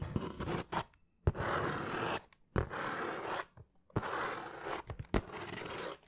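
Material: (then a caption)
Cardboard. Fingernails scratch across the surface of a hollow, closed brown cardboard shoe box held in both hands close to the microphone. Long, dry rasping strokes come in bursts separated by short pauses, with brief sharp taps and a hollow low body under the scratching.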